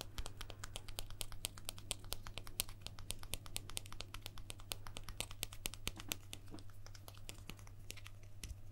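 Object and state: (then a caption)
Guitar pick. A guitar pick that was used on stage and thrown into the audience is tapped rapidly and steadily throughout. Many short, bright clicks ring out over a constant low hum, and each tap dies away almost instantly.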